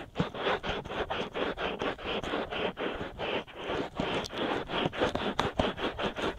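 Fingers wrap around the white soft-rubber silicone ears of a binaural microphone and scratch them with short nails. About twenty quick, close, rasping strokes are heard in a steady rhythm, each a dense brushy scrape that reaches up to a bright hiss and stops short with almost no ring.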